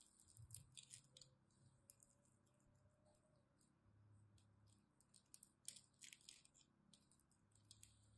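A small knife blade scratches and cuts the surface of a solid rectangular bar of dry purple-and-white striped soap held in the hand, and soap flakes fall off. Quiet, bright, crisp scraping and crunching bursts come in clusters over a faint low hum, each stroke dying away almost instantly.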